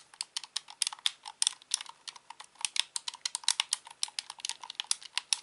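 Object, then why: Plastic game controller. Fingertips repeatedly press and click the face buttons and thumbsticks of a hand-sized, grey-black, hollow plastic Xbox controller. A steady run of quick, dry, bright clicks, each very short with no ring and no low end, comes at a soft, quiet level.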